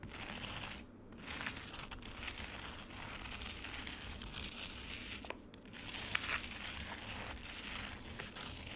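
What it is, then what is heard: Frozen lemonade ice in a plastic tray. Long acrylic nails scratch and claw across a frozen lemonade ice slab in a black plastic tray, its surface scattered with crushed ice bits. The sound is a steady, bright, gritty crunching and crinkling, dipping briefly at about 1 second and again around 5.5 seconds before resuming.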